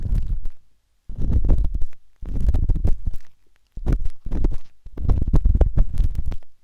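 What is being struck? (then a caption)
Silicone ear of a binaural microphone. The thin metal tip of a wooden-handled dot stick scratches inside the ear canal of a pale pink, soft and solid silicone ear on a binaural microphone. The scratching comes as deep, muffled, rumbling bursts of rapid close-up rubbing, almost all low bass with little brightness. Brief silences separate the bursts.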